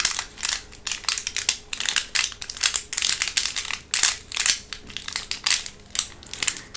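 A translucent green plastic blister tray of hollow, thin plastic is squeezed and tapped with long nails, giving off dense, bright crackling and crinkling with almost no low end. The crackles come in quick, irregular bursts and clusters throughout, each snapping off almost instantly.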